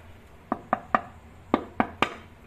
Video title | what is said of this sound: VLOG : Novembre 2023 , Part 1; Les chats, le Temps , La voiture ,mon fils et du bricolage | les carreaux sont cassés ça sonne le creux